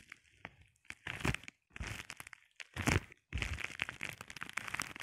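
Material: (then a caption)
Plastic. A flat sheet of clear plastic bubble wrap is scratched and tapped with the short painted nails of both hands. Bursts of dry, crinkly scratching and sharp crackling taps alternate with brief pauses, ending in a longer run of dense crackle.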